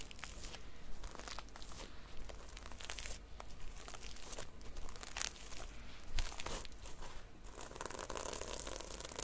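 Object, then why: Notebook with a sequin cover. Fingertips and long nails stroke and scratch the red sequin cover of a small notebook held upright, making dense, crinkly, rasping bursts that surge and fade with each pass. Bright scratchy streaks cluster over a steady low hum, and the scraping grows brighter and busier toward the end.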